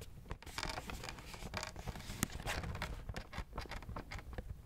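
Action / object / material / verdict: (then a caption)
tap / cardboard box / cardboard / none. A hollow, pink printed cardboard macaron box is held in both hands while fingertips and nails tap and scratch its front and sides. Quick, dry taps with a low, hollow body mix with bright, rasping scratch strokes. The sound stays steady and busy throughout, with each tap dying away almost at once.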